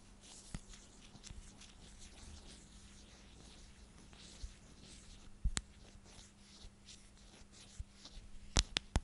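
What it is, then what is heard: Plastic storage container. Long nails scratch and rub along the sides of a clear plastic storage container with a purple lid, making a quiet, bright, dry scratching texture over a faint steady low hum. Sharp little clicks and taps pop out now and then, bunching together toward the end.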